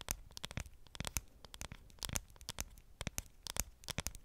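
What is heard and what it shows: Long painted nails tap and scratch the aluminum back of a dark grey iPhone 7 Plus held in the hand, close to the microphone. Quick, crisp clicks and scrapes with a bright edge come in irregular bursts over a quiet background, each stopping almost at once.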